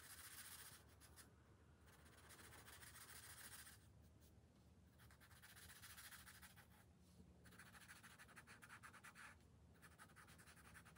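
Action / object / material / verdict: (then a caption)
scrape / felt-tip marker on a thin paper page / paper / none. A pink felt-tip marker rubs and scratches in back-and-forth coloring strokes across a thin paper page of an open coloring book resting on a glass table. The strokes make a steady, bright scratchy hiss in bursts with brief quieter pauses between passes.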